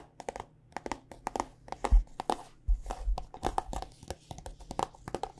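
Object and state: Plastic lotion squeeze tube.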